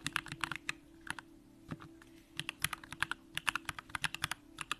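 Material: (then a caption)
Aluminum, plastic. Continuous two-handed fingertip typing on a compact Bakeneko65 mechanical keyboard with an aluminum case, Durock lavender switches and pink plastic keycaps. Quick, sharp, bright keystroke clicks come in rapid bursts, with a short pause near the middle before the typing picks up again.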